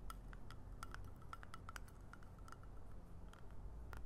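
A small round metal lip balm tin has its lid tapped and scratched with long nails, then is opened so the lid and base clink against the nails. Many quick, bright little ticks and clinks with a faint ring come in a steady stream over a quiet, low background rumble.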